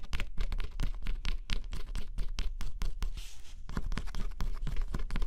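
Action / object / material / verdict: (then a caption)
scrape / cardboard jigsaw puzzle with scratch-off coating / cardboard / none. A small metal stylus held in the fingertips scratches the thin black scratch-off coating off a flat, solid cardboard jigsaw puzzle lying on black fabric. Quick, dry, bright scratching strokes come in a rapid series, broken by a longer continuous rasp near the middle. A steady low rumble sits underneath throughout.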